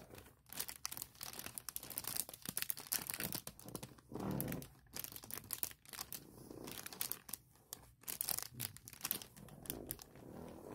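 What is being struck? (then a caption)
Clear plastic packaging bag. A clear plastic Mosiso packaging bag, lying flat with the case inside, is scratched by long nails and rubbed by fingertips across its crinkly surface. The result is a steady run of bright crinkling and scratching bursts, with a few softer, lower rubbing swells in between.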